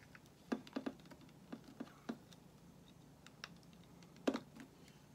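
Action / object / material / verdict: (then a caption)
scrape / solid bar of soap shaved with a metal blade / soap / none. A small, solid white bar of soap held in one hand is shaved with a metal box-cutter blade, peeling thin flakes onto a pile of shavings below. Short, dry scraping ticks come in irregular bursts with a low-mid body and a quick fade, separated by near silence. The quiet, close sound resembles soft typing.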